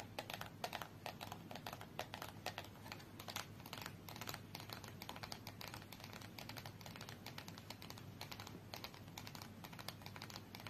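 A small red cardboard UNO card box lying on its side is tapped with long nails, then held and tapped on its sides with fingertips and nails. The result is a quiet, steady stream of rapid, dry clicks and taps with almost no ring, like fast typing on a keyboard. A faint low hum sits underneath.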